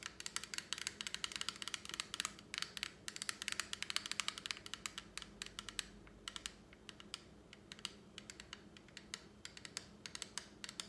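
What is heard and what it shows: Long acrylic nails tap and scratch a small flat plastic lipstick palette with a clear lid held in one hand, making dense, rapid, bright clicks with no ring. The crisp taps come in quick bursts, briefly thin out around the middle, then pick up again over a faint low hum.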